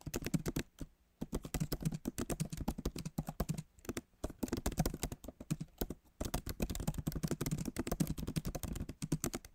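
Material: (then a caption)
Plastic. Fingertips of both hands type fast on the plastic keys of a backlit MacBook Pro keyboard set in a solid aluminum body. Rapid, dry clicks with a soft low thud run in dense bursts, separated by brief pauses. Each tap dies away almost instantly.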